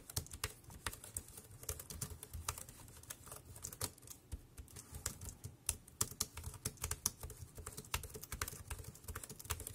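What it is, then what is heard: Plastic keyboard typing. Fingertips type fast on the round keys of a compact dark grey plastic Bluetooth keyboard with a hollow body, resting on a black plastic bag. A rapid, uneven stream of sharp, bright plastic clicks rides over a low, hollow thump. Each click dies away almost instantly.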